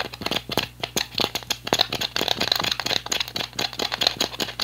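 An empty, hollow, clear PET plastic water bottle with a blue cap is twisted and crushed between both hands. It gives a fast run of sharp, rattling plastic crinkles and crackles. The sound is bright, with almost no low end and no ring after each snap.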